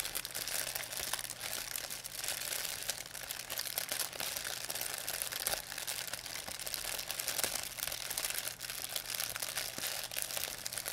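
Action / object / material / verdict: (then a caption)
shake / thin plastic shopping bag / plastic / none. A thin white plastic pharmacy bag with red and blue print, crumpled into a ball, is crinkled and squeezed in both hands by fingers with long painted nails. A dense, continuous stream of bright, sharp crackling and crunching is heard, with little low end and occasional louder snaps. The result is steady plastic crinkling throughout.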